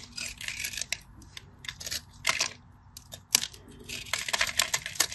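A small utility knife blade carves a solid, rectangular, cream-coloured bar of dry soap held in the fingers, scoring a grid and chipping off small crumbly pieces. Dry, bright scraping and crisp cutting bursts come in uneven clusters, with short crackly crumbles and no ringing.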